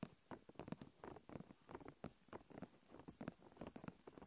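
Long nails tap and scratch across thin, clear plastic protective film wrapped around a recorder. The result is a quiet, rapid, irregular patter of short, dry clicks and crinkly scrapes. The sound is mostly low to mid in tone with little brightness, and each tap dies away almost instantly.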